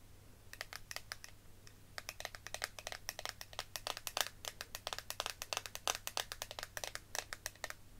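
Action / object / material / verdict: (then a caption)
tap / small clear plastic eyeshadow compact / plastic / none. A small, square, clear plastic eyeshadow palette with powder inside is held in the hand and tapped and scratched with fingertips and long nails. Dozens of quick, crisp, bright clicks and ticks come in uneven bursts, each dying away almost instantly, over a faint steady low hum.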